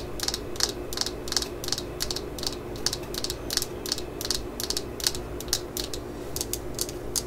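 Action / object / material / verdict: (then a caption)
tap / fiberglass hammer handle / fiberglass / none. Long acrylic nails tap and scratch the solid yellow fiberglass handle of a claw hammer, held in the hands, just below its rusty steel head. Quick, bright clicky taps come in a loose, uneven rhythm over a steady low hum, each one short and dry with almost no ring.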